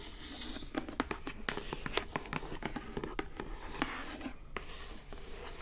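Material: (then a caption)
Cardboard. Long acrylic nails scratch and tap the lid and edges of a closed lilac glossy-coated cardboard gift box. Quick, bright clicks stand out over a steady, soft scratching rustle, with each tap dying away almost at once.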